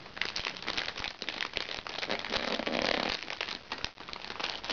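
Fingertips and nails scratch and press the surface of a small, crinkly recycled plastic makeup bag. The result is a dense, bright crinkling and crackling with many sharp little ticks and almost no low end. It swells loudest near the three-second mark and drops away briefly just before four seconds.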